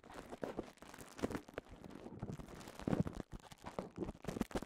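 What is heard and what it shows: A clear plastic bubble wrap cone is held in both hands while the fingers squeeze and rub the bubbles. The result is a quiet, continuous run of soft crinkling and rustling with short, dull pops and squeaks, mostly low and muffled with little brightness.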